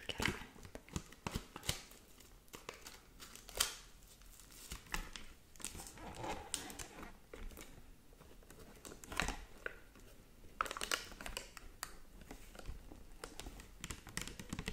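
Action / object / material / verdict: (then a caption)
tap / plastic and paper folding fan / plastic, paper / none. Long manicured nails tap and scratch over an open hand fan with thin, hollow pink plastic ribs and a printed paper or fabric leaf. The result is a run of crisp, dry clicks and bright, papery crinkling scratches, with brief louder taps scattered among softer rustling.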